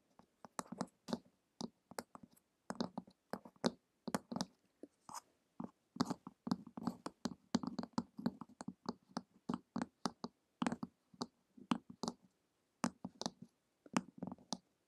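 Long acrylic nails tap and click on the glossy printed cover of a flat, solid, medium-sized hardcover book lying on a table. Quick, dry, quiet taps come in an uneven, rapid series, some in bursts and some alone, with short pauses between. Each one has a dull, low-mid thud and a bright clicking edge that dies away almost at once.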